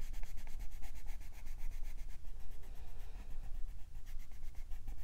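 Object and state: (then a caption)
Colored pencil shading on a paper page. A green wooden colored pencil shades the leaf area of a printed paper page in a coloring book with rubbing, sanding-like strokes while the other hand rests flat on the page. A steady run of quick, scratchy strokes carries a bright hiss over a low rumble, continuing without a break.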